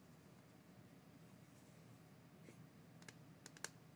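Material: Plastic.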